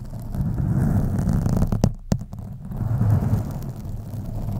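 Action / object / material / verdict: scrape / foam microphone windscreen / foam / none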